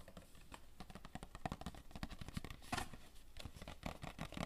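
Fingertips tap rapidly on the sides of a hollow, rectangular printed cardboard Royale tissue box held in the hands. The result is a quick patter of dull, boxy knocks with short decay, a low body and a hollow mid-range tone.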